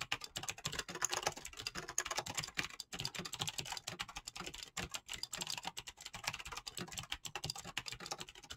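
Fingertips with painted nails type rapidly on a backlit mechanical keyboard with clicky green switches and pastel PBT plastic keycaps. A dense, continuous stream of sharp, bright clicks and clacks runs steadily throughout, each keystroke short and crisp with almost no ring.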